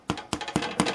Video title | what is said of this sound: Vonnie's Bread Machine Pan Rolls | you thump them you hear that hollow sound I hope you can hear it they're done